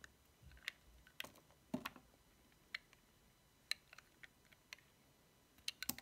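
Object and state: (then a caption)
Dry bar of soap being shaved. A small, solid, cream-white bar of dry soap with a paw decoration is held in the fingertips while its edges are shaved off with a metal utility knife blade. Thirteen crisp, bright cutting snaps and clicks come at an irregular pace, each dying away almost instantly over a quiet background.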